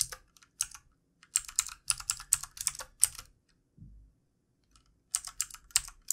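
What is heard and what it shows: Fingertips of both hands type on the keys of a backlit plastic computer keyboard resting on a desk. Quick, bright, clicky taps come in uneven bursts separated by short pauses, with a soft low thump in one gap. Each tap stops almost instantly, with no ring.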